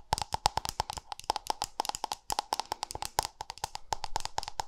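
A small, round, white-pink plastic cosmetic cream jar with a lid, held in one hand, is tapped rapidly on its lid and rim with long nails. A quick, uneven run of about thirty short, dry clicks with a hollow tone near 840 Hz and bright, crisp tops, each dying away almost instantly.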